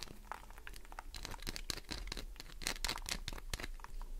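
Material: Soap.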